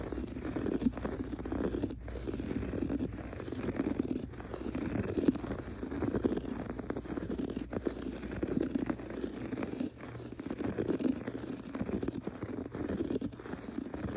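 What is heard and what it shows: Fingertips and short nails scratch and rub with fast motion across a gray textured pile carpet on the floor. The result is a dense, continuous, muffled rustling and scraping, concentrated in the low-mids with little brightness and steady loudness throughout.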